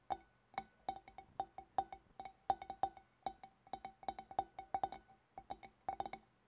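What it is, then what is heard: Glass fish bowl. A large, empty, clear glass fish bowl with a scalloped rim is tapped around its neck and rim by both hands with long black-polished nails. The result is a quick run of short, bright clicks with a clear ringing pitch near 780 Hz, each decaying almost at once, in an uneven, rhythmic pattern.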